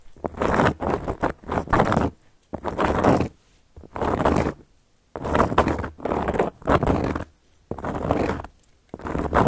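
Long gold metal claw nails scratch a round, flat, solid cork coaster in short strokes with brief pauses between. Each stroke is a dry, broadband rasp that reaches high into the bright range, with a soft low rumble and almost no ring after it stops.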